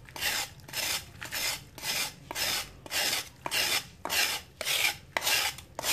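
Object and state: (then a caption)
Dry sand-cement chunk being scraped. A metal knife scrapes and shaves the edge of a solid, flat slab of dried sand-cement held in hand over a water tub, releasing dust. Steady, bright, gritty rasping strokes repeat about every half second, each a short burst of dry scraping with almost no low end.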